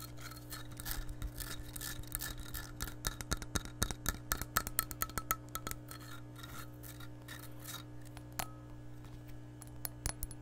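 An empty glass measuring cup with red markings is held and scratched with long nails, giving a raspy, scraping sound. It is broken by quick, bright clicks and taps, busiest in the middle, with a faint ring near 1.3 kHz over a steady low hum.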